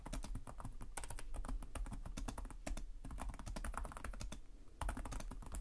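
Fingertips with short nails type continuously on the plastic chiclet keyboard of a black laptop resting on a desk. Rapid, short clicky key taps run together over a steady low hum.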